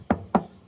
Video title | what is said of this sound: Corsa B Will it run? Part 2 | that's the chassis it's very different noise